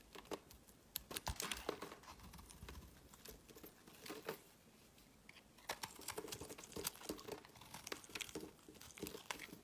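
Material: Soap.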